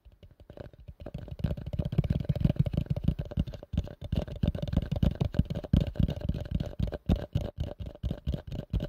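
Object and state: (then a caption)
Plastic bowl. A plastic bowl is tapped quickly with the fingers. The result is a rapid, uneven run of dull, low-pitched taps with a short decay and almost no high-frequency content.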